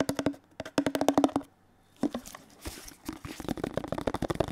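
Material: Plastic.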